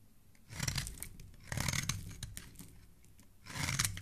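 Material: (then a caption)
Soap. A palm-sized solid tan bar of soap, held in a gloved hand, is scraped and carved with a small black blade, throwing off shavings and flakes. Three crisp, rasping scrape strokes are heard, each a dry, gritty burst with bright high hiss over a soft low body. Quieter scratching fills the gaps between them.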